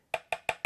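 A metal guitar fret in a wooden fretboard is tapped four times with a fret rocker, each tap giving a short, hard, clear click with a bright tone that dies away almost immediately. The crisp, non-hollow sound shows the fret is seated and very well glued into the fretboard, so it needs no pressing or gluing.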